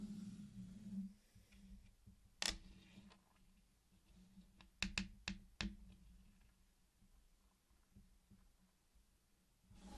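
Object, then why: Candy-coated chocolate pieces. Fingertips tap and press the hard sugar shells of many small, solid candy-coated chocolates laid in a flat, circular colored pattern on a dark surface. Five sharp, bright clicks stand out, one alone and then four in a quick cluster, each dying away almost instantly. Between them are faint soft clicks over a steady low hum.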